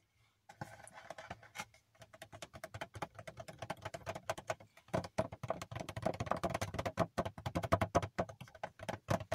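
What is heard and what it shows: Fingernails tap rapidly on a hand-sized cardboard Funko Pop box with a plastic window and a figure inside, held close. The dense, dry clicks fade almost instantly, with a hollow tone around 670 Hz. The tapping grows louder and busier halfway through.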